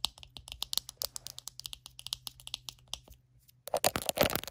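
Long acrylic nails tap rapidly on the hollow back shell of a small glossy purple plastic detangling hairbrush lying on a blanket. A quick run of about 27 sharp, bright, clicky taps with a hollow plastic tone stops in a short pause, then ends in a louder, denser burst of tapping and scratching.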